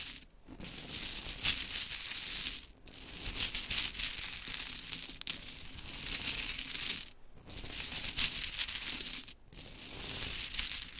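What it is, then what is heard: Pile of small wooden clothespins. Hands with long chrome nails gather and rub a pile of pink wooden mini clothespins into a heap on glitter fabric. A dense, bright clattering and rattling runs almost continuously, with brief quiet gaps as the heap is moved, and there is very little low end.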